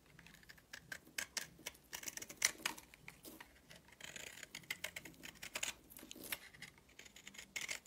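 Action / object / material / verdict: scrape / soap bar scraped with a blade / soap / none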